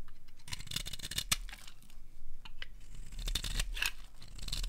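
A metal blade scrapes along the edge of a solid, dry, bright green rectangular soap bar held in the hand, cutting off fringed shavings. Crisp, bright scratchy crackles come in quick bursts over a low, steady rumble.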